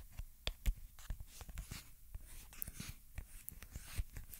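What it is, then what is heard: Plastic lotion bottle. A small white plastic skincare lotion pump bottle with a pale green plastic cap is held in one hand while fingertips and short nails tap and scratch the bottle and cap, then fiddle with the cap at the end. The sound is quiet, made of short, dry tapping clicks with soft, low thumps and bright nail ticks over a faint scratching rustle, each tap dying away almost instantly.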